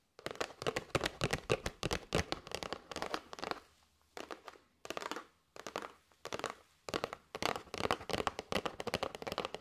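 A flat kraft cardboard box with a clear plastic window, holding paper straws, is tapped with long nails on its face and sides. The result is bursts of quick, dry, crisp clicks that are bright, with a papery crinkle. Short pauses fall between the bursts.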